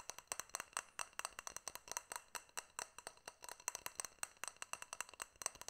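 Fingernails tap and clink on a small, hollow, clear glass jar with a silver metal lid, held close. Around 38 quick, bright, sharp clicks follow one another in an uneven rhythm. Each dies away almost at once, with high glassy ringing and almost no low end.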